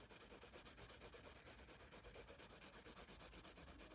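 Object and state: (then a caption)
Pencil shading on a paper sketchbook. A graphite pencil draws and rubs shading strokes on the paper of a spiral sketchbook held up in the air. It makes a quiet, steady back-and-forth scratching with a bright, hissy paper texture, about two strokes per second.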